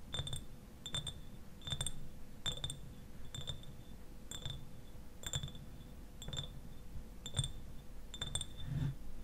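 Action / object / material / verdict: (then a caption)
tap / glass eyewash bottle tapped with fingernails / glass / none. Fingernails tap the sides of a medium-size, clear glass eyewash bottle that stands upright and is partly filled with liquid. Each tap gives a short, bright glassy click with a high ringing tone that fades quickly. The taps come in a steady, uneven series over a low, soft rumble.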